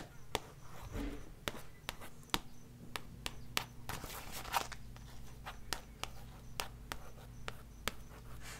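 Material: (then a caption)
Card and paper. Long nails tap and scratch the card cover and spine of a glossy paperback book, *Reiki Healing for Beginners*, which has paper pages and is held upright. Quick, dry, crisp taps ring out at irregular intervals over a soft, low background hum, with faint scraping between them.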